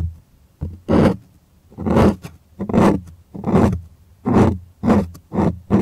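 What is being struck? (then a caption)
Cotton canvas stretched on a wooden frame. Fingers scratch the taut white cotton fabric of an art canvas stretched on a wooden frame, close up. Repeated rough, raspy scratching bursts swell and fade at an uneven pace, with a dull low body under a bright hiss and short quiet gaps between strokes.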